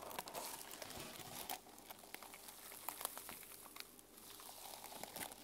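Fingernails scratch and brush across the silver and teal sequin cover of a small fabric journal resting on a table. The result is a soft, bright, crinkly rustle with quick sharp ticks scattered through it and little low end.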